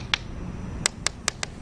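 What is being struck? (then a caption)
Laminated car side window glass. Five short, sharp taps strike the dual-layered laminated window glass of a Chevrolet Malibu. Each tap is a quick, high click with almost no ring, heard over a low background rumble. The laminated glass lets much less noise into the cabin, so the taps sound much quieter.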